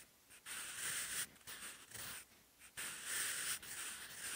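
A blue-ended wooden pencil writes vertical Korean handwriting on a textured cream notebook page, its graphite scratching across the paper fibers. Bursts of dry, bright, hissing scratches come with the strokes, separated by short quiet pauses as the pencil lifts.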